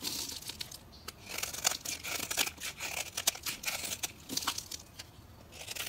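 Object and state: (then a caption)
Bar of soap being carved. A solid green bar of soap, held in the hand, is carved and scraped with a metal knife, peeling off fine shavings. The result is a run of quick, dry, bright scraping and crinkly tearing strokes with almost no low end, each one cutting off sharply.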